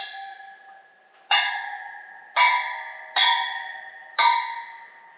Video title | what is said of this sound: Motorcycle Wheel Lacing & Truing | Every one of them rings. If you tap one and it's dull, that one's not tight, then you have to check it.